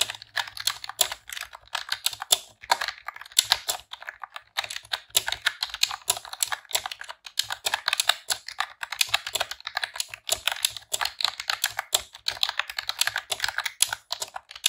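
Long press-on nails and fingertips type in rapid key presses on a pink retro-style plastic computer keyboard with round keycaps. The result is a dense, continuous stream of short, bright plastic clicks and clacks that die away almost instantly, with no low end.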